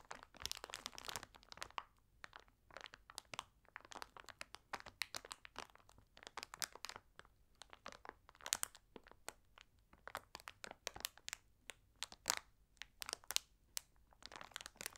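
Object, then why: Plastic candy bag with foil-wrapped chocolate eggs. A large glossy plastic candy bag (Easter Moments, 400 g) full of foil-wrapped chocolate eggs lies flat on a cloth-covered table. Both hands press and scratch it with long red nails and fingertips. The result is a steady stream of quick, bright crinkles and crunches with no low end and almost no ring.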